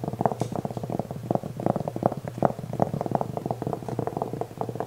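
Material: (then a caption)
Velvet. Fingernails scratch the surface of a black velvet-covered jewelry tray held upright, flat and rigid. A quick, steady run of short, soft, muffled scratching strokes, centered in the low-mids with no bright edge. Each stroke dies away almost instantly.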